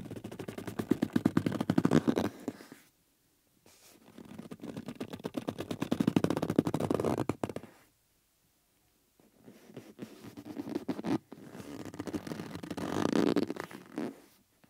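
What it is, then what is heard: Rubber bellows rubbed by fingertips. Fingertips rub and press the taut outer surface of a hollow yellow rubber bellows with metal rims, held upright in one hand. Four bursts of dense, rapid crackling rubber squeaks and scrapes, centered in the low-mid range, are separated by short silences.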